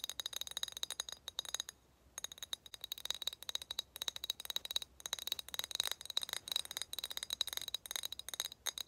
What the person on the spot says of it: 6:44 tapping on glass bottle